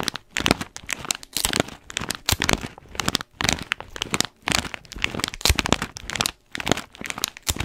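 An orange foil-lined paper coffee bag with blue tape, held in one hand, is scratched with the fingernails of the other hand. Its crinkly surface gives off bright, dry crinkling and crackling in bursts, with short pauses in between.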